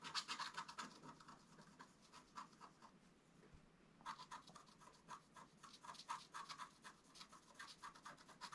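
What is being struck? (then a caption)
Black-coated scratch art paper over metallic foil, scratched with a wooden stylus. A wooden stylus scratches the black layer near the right edge of the design on a flat scratch art card of black-coated paper over metallic foil. Quick, bright, dry scratching strokes come in a steady rhythm, ease off into a softer lull midway, then resume in rapid bursts.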